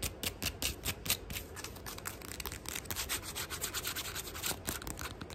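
A flat sandal with black and maroon synthetic straps over a tan footbed is held in hand while fingernails scratch and tap across the straps and footbed. The result is a fast, dense run of bright, crisp scratching and tapping bursts with a hissy, high-pitched texture.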